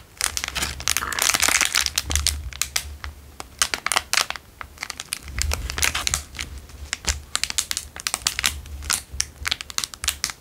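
A square clear plastic wrapper is rubbed and crinkled between fingers and thumbs. It makes dense, bright crackling in irregular bursts, with busier rustling stretches around the first two seconds and again near five to six seconds. Many sharp snaps are heard throughout.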